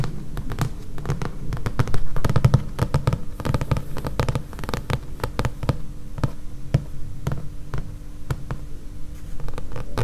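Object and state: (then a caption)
Thick paperback book, solid. Long painted nails tap on the back cover of a thick paperback book, its glossy card cover lying over solid paper pages. The taps come quickly and irregularly, short and dull with a low, thudding body and almost no ring, over a faint steady hum.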